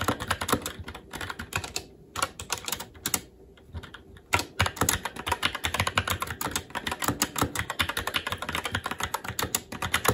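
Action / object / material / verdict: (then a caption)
tap / mechanical keyboard with plastic keycaps / plastic / none. Fingertips of both hands type continuously on a SteelSeries Apex 7 TKL mechanical keyboard with red linear switches, plastic keycaps and a metal top plate. The result is a dense stream of short, bright plastic clacks with a low thock beneath, broken by brief pauses around the 2 and 3.5 second marks.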